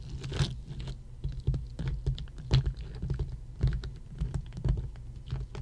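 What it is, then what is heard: Ice cubes tapped with fingernails. Long nails tap rapidly on a row of solid ice cubes resting on a red mat, like typing on a keyboard. Quick, crisp clicks and light patter come in irregular bursts over a low background hum.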